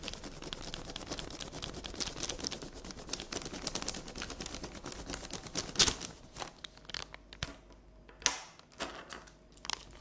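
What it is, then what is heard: Sheet of paper. Long red nail tips tap and scratch on a flat sheet of paper colored with pink pencil, lying on a table. A dense stream of bright, crackly scratching and quick taps fills the first six seconds, then thins into sparser, sharper taps and short scrapes with quiet gaps between them.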